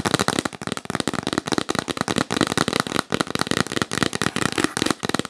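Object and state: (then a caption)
Cardboard box lid. Long nails tap quickly on the lid of a hollow, yellow printed cardboard box held upright. The result is a fast, dense stream of dry, crackly clicks with a hollow, papery body and a bright top end. Each tap dies away almost instantly.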